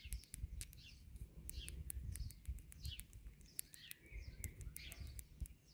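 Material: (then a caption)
Concrete. Fingertips and long nails tap and scratch along the solid concrete cylinder tops of a concrete palisade garden border, making a quick run of sharp, bright clicks and scrapes. Birds chirp in the background over a steady low outdoor rumble.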